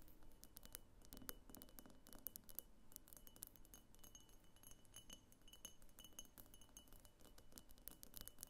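Long painted fingernails tap and scratch all around a medium egg-shaped vase of pink opaque glass with a thick clear glass base, hollow and empty, standing on a wooden table. Quiet, rapid, dense clicks and scrapes carry faint, steady high glassy tones that ring briefly under the taps.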